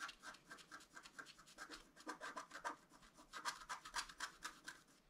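A pointed wooden stylus scratches a flat A4-size scratch-art card, with a black coating over a colored foil layer, lying on a table. It makes a quiet, irregular run of short, dry, raspy strokes, about four per second, with a bright hiss centered in the upper mids and little low end.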